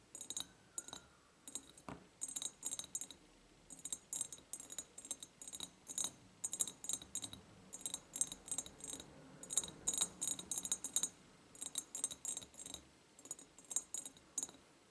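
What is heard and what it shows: Long painted nails on both hands tap the sides of an empty, ribbed, clear glass jar with a white ceramic lid and a ribbon bow. The result is dozens of quick, bright, clicking taps in irregular bursts and flurries, each dying away almost instantly with little low end.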